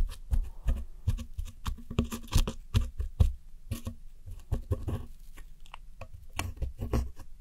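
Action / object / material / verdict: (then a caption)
scrape / pressed powder eyeshadow in a plastic palette, scraped with a metal tool / pressed powder / none. A red-handled metal hook tool scratches and digs into the blue pressed powder eyeshadow wedges in a round white plastic palette, scattering crumbs. The result is a quick, irregular run of dry scratches and soft taps, dull and low-weighted, each cutting off at once with no ring.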